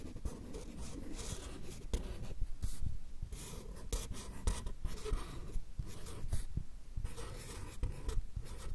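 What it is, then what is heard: Marker pen writing on paper cards. A fine-tip marker pen draws lettering on a small stack of white paper cards held in the left hand close to the mics. Continuous scratching strokes scrape and rub steadily, with a low rumble underneath and brief bright bursts as the pen moves across the paper.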